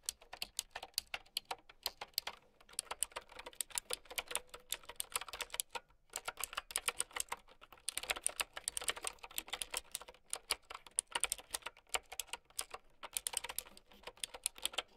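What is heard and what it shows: Fingertips and long nails type on a plastic mechanical keyboard with round keycaps. Rapid, bright, clicky keystrokes come in dense bursts, with brief pauses near 2, 6 and 13 seconds. Each click is sharp and dies away almost instantly, with almost no low end.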